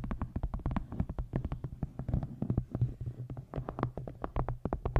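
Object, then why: Hardcover book with embossed faux-leather cover. Long nails tap and scratch the embossed surface of a solid dark green hardcover book with an embossed faux-leather cover. Quick, dry taps fall in rapid, uneven bursts over soft scratching, each stopping almost at once. A steady low hum sits underneath throughout.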